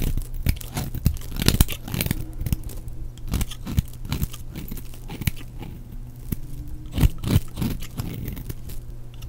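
A flat knife blade shaves and scrapes shreds from the edge of a red-and-pink striped solid bar of dry soap held in one hand. Quick, dry crunching and tearing strokes repeat throughout, with brief crisp peaks over a steady low hum. Each scrape ends sharply with almost no ring.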